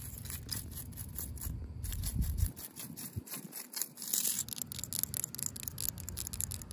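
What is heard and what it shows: Long pink acrylic nails rub and scratch along the ribs of a corrugated yellow plastic safety cap, a hollow ribbed tube on top of a chain-link fence. The sound is a fast run of dry, bright scratchy ticks over a low, rumbly background.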